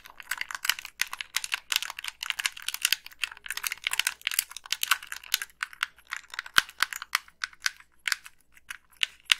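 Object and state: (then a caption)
Plastic game controller. Long pink nails click the buttons and tap the hollow plastic shell of a black Xbox 360 gamepad. A quick, uneven stream of dry, bright clicks and taps, each dying away almost at once, with no low end.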